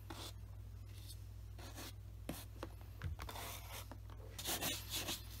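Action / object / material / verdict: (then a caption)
scrape / leather dress shoe brushed with a horsehair brush / leather / none. A black leather wingtip dress shoe with a wooden shoe tree inside, resting on a desk mat, is brushed back and forth with a wooden-backed horsehair brush. Soft, bristly rubbing strokes with a bright, airy hiss repeat unevenly over a steady low hum, growing a little louder toward the end.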